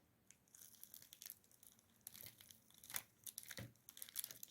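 A freshly baked leek and cheese börek is tapped and cut straight out of the oven. Its crispy, flaky crust gives off dry, bright crackling and crunching taps in an irregular series. The crackle shows the pastry is well baked.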